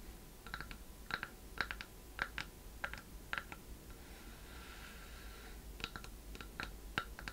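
Long painted nails tap and scratch the sides and worn end panel of a small hollow wooden chest-shaped box with decorative metal corner fittings and a latch, held in both hands. Quiet, sharp clicking taps with a short hollow ring come in scattered bursts, broken midway by a soft, steady scratching passage. A low hum sits underneath throughout.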